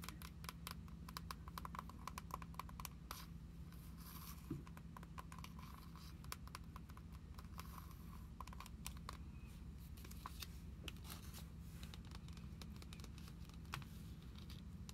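Long acrylic nails tap the edge of a glossy plastic-covered card binder, then tap its back cover once it is laid flat. Dense, quick, light clicks with a bright, crisp edge come in irregular bursts over a steady low hum throughout. The taps stay soft and close, each dying away almost at once.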